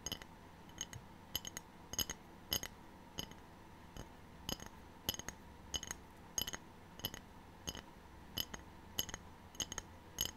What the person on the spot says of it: ASMR Short: Tapping Ceramic Tray (No Talking)